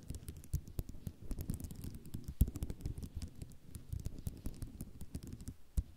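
Long nails tap fast with both hands on a flat sheet of white ceramic mosaic tiles. The result is a quiet, dense patter of short, dry clicks with bright tips over a dull low thump, and a few louder taps stand out.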